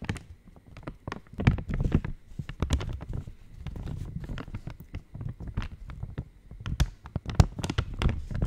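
An opened purple Cadbury Dairy Milk Silk wrapper, made of thin foil-lined plastic and hollow and flexible, is held in both hands near the mic and tapped and scratched with long painted nails. The result is a dense run of quick, dry taps with soft low thumps and brief bright crinkly ticks, each dying away almost instantly.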